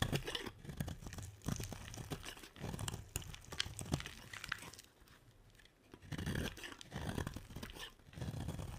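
A utility knife blade scrapes and carves shavings off the edge of a solid, hand-sized white bar of dry soap held in one hand. Dry, crunchy scraping strokes come in quick bursts with soft low thuds, pausing briefly near the middle before the carving resumes.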